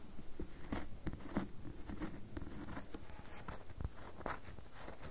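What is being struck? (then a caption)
Bar of soap. A solid red bar of soap, partly resting on a table and then lifted, is scratched and tapped on its surface by fingernails. The result is a quiet, continuous run of dry scratching with soft, short taps and dull low thumps over a faint low hum.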